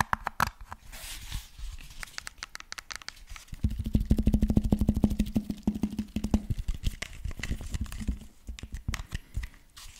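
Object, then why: Fabric-covered portable speaker with rubber end caps. Fingertips scratch and rub the grey fabric cover and rubber end caps of a cylindrical JBL Bluetooth speaker, held close to the mic. Quick, irregular scratches and soft thumps run throughout, mostly low and muffled. From about 3.7 to 6.5 seconds the rubbing grows louder and carries a steady low hum.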